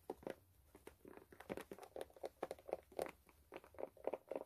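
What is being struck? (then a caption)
Rubber shoe sole. Long nails scratch and tap the brown rubber outsole of a white sneaker held up in the air. The result is a quiet, rapid series of short, dry taps and scratchy bursts, centred in the midrange with almost no low end and no ring after each hit.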